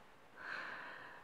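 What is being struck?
Nothing is struck.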